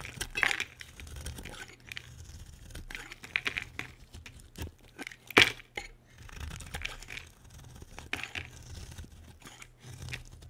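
A solid, dry, cream-white bar of soap held in the hand is carved with a metal utility blade into thick curls. Repeated crisp, bright scraping and cutting strokes crackle through the clip, with one sharper cut near the middle, over a faint low hum.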